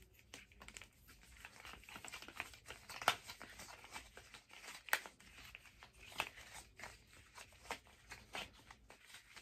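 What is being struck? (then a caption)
Hard plastic figure skate blade guard. A long teal hard-plastic figure skate blade guard, hollow and empty, is held upright and then horizontally while being tapped and scratched with long nails and fingertips. Quiet, bright scratching and crinkly rasping run throughout, broken by irregular dry taps. The louder, sharper clicks land near 3, 5 and 6 seconds, and each dies away almost at once.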